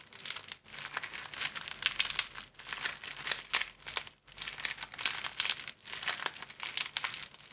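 An empty, long, flat sleeve of thin clear plastic film is held at both ends and bent back and forth with the fingertips. It gives dense, bright, crackling crinkles in continuous bursts, with brief silent gaps between them and almost no low end.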